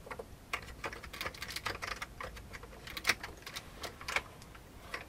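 Fingertips of both hands type on a full-size old beige plastic computer keyboard with a hollow plastic case. The result is a quick, irregular run of bright, short clicky key strikes, with a few louder presses standing out over a soft, steady background.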